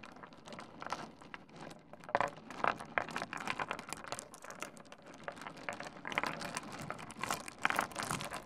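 Fingertips of both hands rummage through and stir a gathered heap of small solid pebbles resting on a wooden desk. The result is a continuous, dense crunching and clicking rattle with bright, crinkly texture. It swells into sharper, louder clusters near 2 to 3 seconds and again around 6 and 7.5 seconds.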